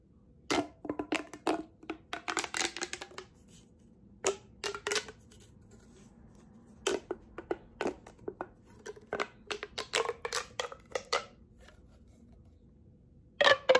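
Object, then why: Corrugated plastic pop tube. A hollow yellow corrugated plastic pop tube is stretched and compressed between both hands, so its ribs snap open and shut while fingertips and nails rub the ridges. The result is clusters of quick, bright plastic pops and clicks separated by short quiet gaps, ending in a louder burst.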